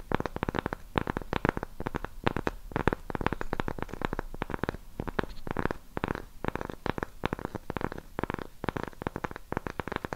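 Long pink nails scratch and tap the face of a round, flat, solid cork coaster held in both hands close in front of a microphone. A rapid, dense stream of short, dry, muffled taps and scratching strokes comes through, mostly low in tone, with almost no ring after each hit.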